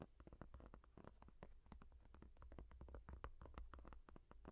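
Long nails tap and scratch the textured surface of a yellow foam rubber case on the back of a small tablet held in both hands. The result is a quiet, quick, irregular patter of soft, dull taps with a low thudding body and short scratchy brushes between them.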